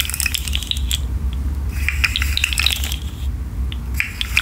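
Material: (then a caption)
Plastic. A rainbow articulated plastic fidget slug with hollow segments is curled and shaken by hand, so its segments click against each other. Dense, bright, short clicks and rattles come in bursts over a steady low hum.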